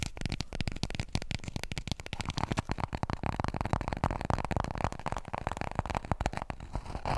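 Long nails rapidly tap and scratch a small, full roll of white toilet paper held upright near the microphone. The sound is a dense, continuous patter of soft, dull thuds with a papery, scratchy texture, weighted toward the low end. Each tap dies away almost instantly.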